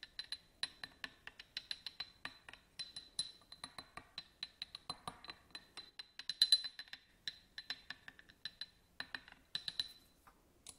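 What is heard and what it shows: A black pen-like tool scratches and taps a small, hollow, empty yellow glass votive candle holder with a studded surface, standing on a table. About 43 quick, separate, bright glassy clicks and clinks sound, each with a short high ring that dies away almost at once, with faint scraping between them.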